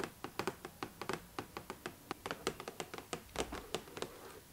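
Long nails tap the clear plastic window and the cardboard edge of a doll box held up close. About 23 quick, separate clicky taps come in an uneven rhythm, each dying away almost at once with a light hollow tone.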